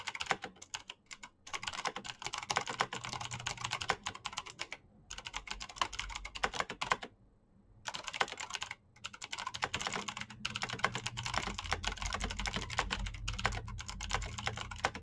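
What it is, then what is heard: Plastic mechanical keyboard. Fingertips of both hands type rapidly on a black Razer mechanical keyboard with plastic keycaps and clicky green switches. The result is a dense stream of sharp, bright clicks that die away almost instantly, with a low thud under the keystrokes. The typing breaks briefly near 5 seconds, between about 7 and 8 seconds, and near 9 seconds.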